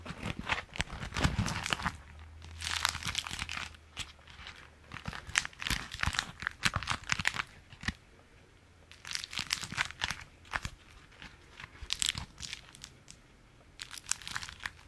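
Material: Waxed fabric.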